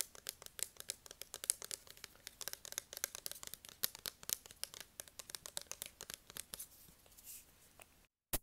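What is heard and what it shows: Fingertips tap rapidly on a plastic spray bottle, recorded close up with an earphone mic. The result is a dense run of crisp, dry, high-pitched clicks with almost no low end. The taps thin out near the end, then a brief silence and one last click.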